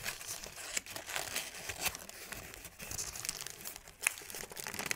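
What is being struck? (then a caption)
Thin paper sheet. A thin sheet of crumpled white paper is squeezed and twisted in both hands. The result is a continuous, bright, dry crinkling and crackling with little low end, broken by a few sharper snaps.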